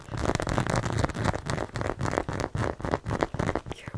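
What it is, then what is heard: Plastic acupuncture model. A white plastic or vinyl acupuncture model of a torso and head, about 40–50 cm tall and likely hollow, printed with black point markings, is held in one hand and scratched and tapped along the chest, shoulder and head with the fingertips and nails of the other hand. The result is a rapid, irregular run of dull, low-heavy scratches and taps, each short and dry with little ring, topped by brief brighter clicks.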